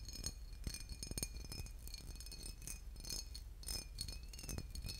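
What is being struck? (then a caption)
Glass bottle with liquid. A boot-shaped glass bottle with liquid inside is tapped and scratched, giving quick, bright glassy clinks over a low rumble. The short ringing taps are interspersed with softer scratching, and a faint steady high tone runs underneath.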